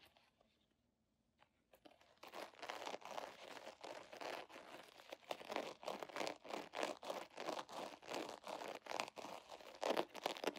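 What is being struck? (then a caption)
Vinyl zipper pouch. A medium-size holographic vinyl zipper pouch, iridescent and scale-patterned, soft and hollow, is held in both hands while long nails scratch and squeeze it. After about two seconds of near silence, rapid, irregular bursts of bright, crisp crinkling and scratching run continuously to the end.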